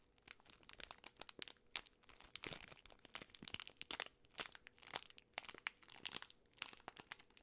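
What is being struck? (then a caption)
Plastic film candy bar wrapper. A full Twix bar in its plastic film wrapper is turned over and crinkled by fingertips and long nails. The result is a quiet, steady stream of dense, bright crinkles and sharp little crackles with almost no low end, each snap dying away instantly.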